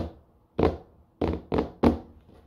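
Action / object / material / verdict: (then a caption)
tap / small rigid cardboard box sealed in thin plastic film / cardboard / none. Long dark-painted nails tap four times on the top of a small grey rigid cardboard Ridge wallet box, closed and still sealed in thin plastic film, that lies on a wooden floor and is then held up. Each tap is a short, dull thunk with a quick decay and little high end, separated by near silence.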